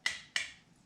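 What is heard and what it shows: Two hollow, bright taps on the metal lid of a sealed canning jar, each with a sharp high-pitched click near 2 kHz that rings briefly and fades. The hollow tap shows the lid is sealed, unlike the dull thud that food stuck under a lid can give.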